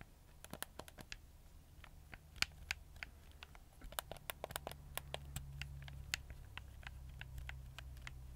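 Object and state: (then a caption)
Plastic game controller buttons clicking. Fingertips and nails click and scratch the buttons and D-pad of a black, hollow, hard-plastic PlayStation 4 controller held in the hand. Quiet, sharp, bright clicks and light scratches tick along in an irregular stream over a steady low hum, each click stopping almost instantly.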